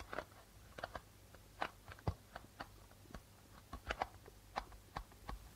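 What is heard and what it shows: Fingertips and nails tap rapidly on the white plastic membrane of a hollow darbuka drum. About fifteen short, dry taps with a mid-pitched tone die away almost instantly, some with a soft low thump and brief bright clicks. The taps come in an uneven, quiet pattern.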